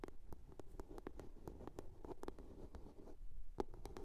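A blue box is tapped and scratched in a quiet, steady run of short, dry clicks. The taps stop quickly and sit over a soft, low rustling scratch.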